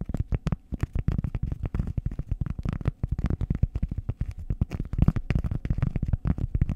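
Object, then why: Round cork pad tapped and scratched with nails. Long acrylic nails scratch and tap a flat, solid, round cork disc about the size of a hand, held over the microphone. The result is a rapid, uneven run of short, dry, muffled thumps and scrapes. They are deep and bassy with almost no ring, and only faint bright edges.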